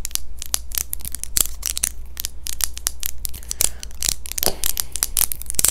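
A small, thin, hollow clear plastic dental aligner is held in both hands near the face and tapped and scratched with long fingernails. The result is a rapid, uneven run of sharp, bright clicks and crisp scratchy rustles over a steady low hum.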